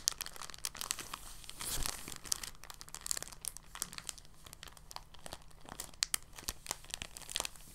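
An empty, thin, translucent polyethylene bag is held in both hands and crinkled and squeezed with fingertips and short nails. It gives a continuous run of soft, bright crinkles and sharp crackling snaps at a quiet level, over a faint steady low hum.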